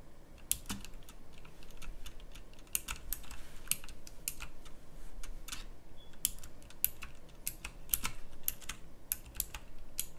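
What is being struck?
Plastic mechanical keyboard keys.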